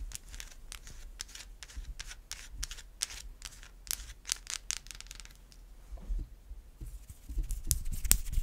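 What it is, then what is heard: Bar of soap. Long white acrylic nails scratch and tap a solid white bar of soap. For the first five seconds there are quick, bright scratching strokes in a steady rhythm. After that the sound thins out into sparser, sharper taps and short scrapes over a low rumble.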